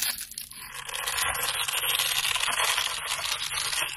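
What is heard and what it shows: A handheld solid coral-pink bar of soap is scraped and carved with metal utility blades, cutting textured lines and crumbs. The result is a steady, bright, crisp scraping hiss made of quick rough strokes that build slightly louder after the first half-second, with very little low end.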